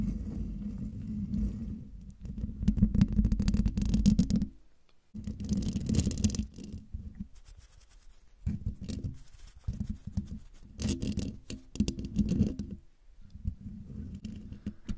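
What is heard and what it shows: Long dark-painted nails of both hands tap and scratch the hollow metal mesh grille of a silver Blue Yeti microphone. The result is a dense, low, rumbling scrape and patter with a hum-like tone near 211 Hz and little high end. It comes in bursts with brief silences around the five- and thirteen-second marks.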